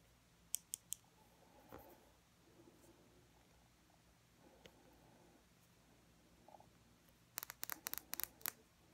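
Long fingernails tap a small, full glass nail polish bottle with purple glitter polish and a black plastic cap, held close up. Three sharp, bright clicks open the clip, followed by faint soft rustling and a few quieter touches. It ends with a quick burst of crisp, high-pitched taps.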